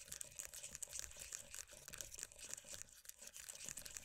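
Long, dark-painted nails rapidly tap and scratch the lid and rim of a closed, filled, round black-and-mint plastic body butter tub with a printed green-tea lid. The result is a quick, steady run of short, dry, bright clicks and scrapes, with almost no low end and no ring after each hit.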